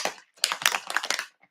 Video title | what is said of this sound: ✨ Relaxing Mark Making & Painting on Japanese Washi Paper with Karen Elaine | If you hear the ball going clink clink clink, you know you've mixed it up. If you don't hear the ball, keep shaking.